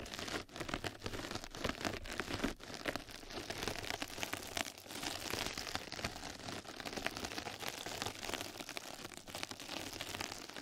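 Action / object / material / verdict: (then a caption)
scrape / knitted mesh scrub sponge / nylon mesh / none. Two mascara brushes scratch and brush across a flat yellow knitted-mesh scrub sponge pad laid over the microphone. The result is a dense, steady run of fast, crisp scratching and crinkling strokes, bright and hissy like light rain on a surface, with little low-end weight.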